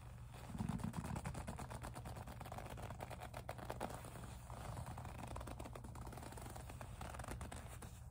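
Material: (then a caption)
Faux leather. Long nails grip, squeeze and scratch the surface of a small, hollow pink faux leather zip pouch. The result is a quiet, steady stream of dense scratchy ticks and squeaky rubbing, weighted toward low, hollow tones, with a slightly louder burst near the start.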